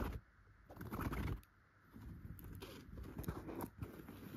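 Long pointed gold and clear nail extensions scratch a yellow chenille fabric pillow with tufted dots. Quiet, soft, low rustling scrapes come in bursts, with a brief pause before a longer stretch of steady scratching.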